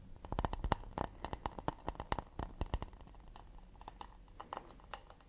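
An empty, round, hollow acacia wood plate is held in the hands and tapped quickly with fingertips and nails on its edge and back. The result is a rapid run of short, dry, clicky taps with a faint hollow knock, busy and sharper in the first half, then softer and more spaced out toward the end.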